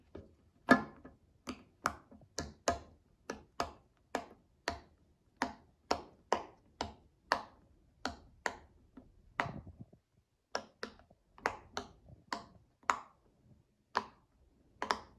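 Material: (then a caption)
Silicone. A child presses the hollow bubbles of a cloud-shaped tie-dye silicone pop-it fidget toy with her fingertips, producing 26 separate, crisp pops at a loose, uneven pace. Each pop is a short, dry click with a mid-range body and a bright snap on top, and it dies away almost instantly into near silence.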